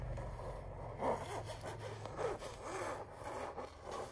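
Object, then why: Canvas wall art print. A canvas wall art print showing a chandelier has its surface rubbed and scratched by long nails, giving a soft, continuous scratchy rasp. The sound swells slightly twice, at about 1 and 2.3 seconds, over a low background hum.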